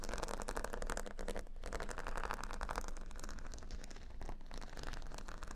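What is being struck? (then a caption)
Cork board covered with plastic faux-pearl beads. Fingernails tap and then scratch across a square cork board covered with a grid of plastic faux-pearl beads. The sound is a dense, steady stream of quick clicks and rattling scrapes over a low rumble, with no clear pauses through the clip.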